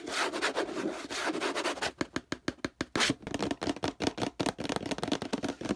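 Fingertips scratch and tap the textured plastic near the handle and base of a hollow orange plastic detergent bottle. A dense, bright scratching rub fills the first two seconds, then breaks into a quick, uneven run of short, crisp taps and scrapes. The taps have a hollow, mid-pitched plastic tone and die away almost instantly.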